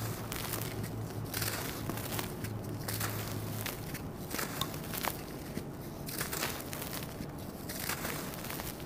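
A small, solid lump of dried red sand-cement resting in a bed of loose powder is squeezed and broken apart by bare hands and fingertips until it crumbles into dust. Dry crunching and gritty crackles come over a steady low hum, with occasional bright clicks that may be metal bangles.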